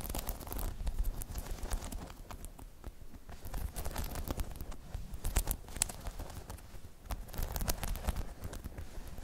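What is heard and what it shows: Long chrome nails tap and scratch across the spikes of a hollow, spiky rubber half-dome balance pod. Quick, dry clicks and scratchy flicks run continuously over a soft, low rumbling bed, with bright, sharp ticks that stop almost instantly.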